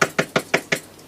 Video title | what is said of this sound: We are Powerful Beings - Masaru Emoto | it's vibrating when we tap it we can hear the sound the vibration of this table